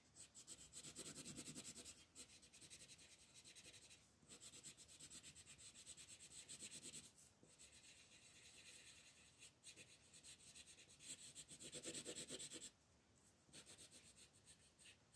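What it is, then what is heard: Colored pencil shading on paper. A red-orange colored pencil is rubbed back and forth across a paper coloring book page, shading in the shell area. Quick, bright, scratchy strokes repeat at about three per second in loose, uneven bursts, with brief pauses between passes.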